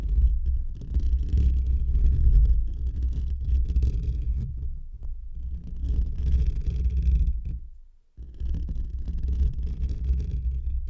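Short fingernails of both hands scratch a hollow metal wire-mesh microphone grille up close, making a dense, continuous low rumbling scrape with thick bass and faint bright crackle on top. The scratching surges and eases in waves, drops almost to silence for a moment near the end, then resumes just as heavily.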